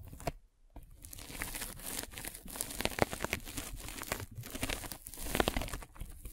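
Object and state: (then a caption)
Polyethylene foam net sleeve. A metal-spiked derma roller is rolled over a white polyethylene foam mesh sleeve fitted over a microphone, producing continuous crinkly, crackling scratching. After a brief quiet moment near the start, the dense rustling carries on with sharper crunches scattered throughout.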